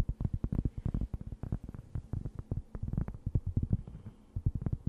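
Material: Cork.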